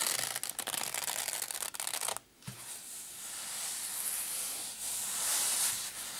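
Fingertips and nails rub and scratch the fabric top of a small black padded nylon zip case. A bright, crackly scratching with quick rough strokes fills the first two seconds, then stops briefly. It returns as a steadier, hissy rubbing that swells toward the end.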